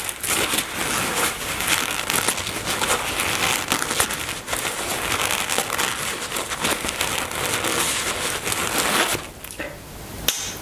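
Long nails scratch and rub the surface of a black embroidered polyester-type fabric toiletry bag resting on a table with contents inside. A dense, bright, crinkly scratching runs steadily for about nine seconds, then quiets before a single sharp click near the end.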